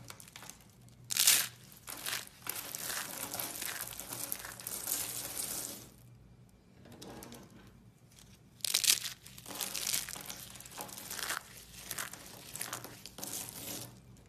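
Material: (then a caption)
Soap. Fingers crush several pink-and-blue spiral soap curls on a white table into small flakes, making bright, crisp crinkling and crunching sounds. The crackling comes in dense bursts, loudest near the start and again after a quieter pause in the middle, and leaves behind small soap flakes.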